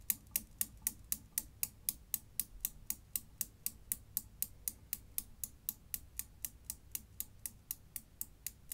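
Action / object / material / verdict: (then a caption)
knock / steel balls of a desk Newton's cradle / steel / none. A desk Newton's cradle with five small solid chrome steel balls hung on strings in a frame on a dark base clacks steadily as an end ball swings and knocks into the row. About 35 sharp, bright metal-on-metal clicks come at an even pace, each dying away almost instantly over a faint low hum.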